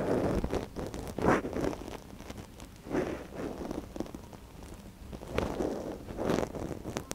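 Gloved fingers scratch inside the canal of a small, soft silicone ear on a binaural microphone with a thin wooden stick. The result is a close, dry, muffled rustling and scratching, mostly in the low-mid range, that swells into louder bursts and then fades back to quieter crackles.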